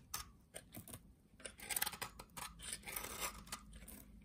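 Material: Soap.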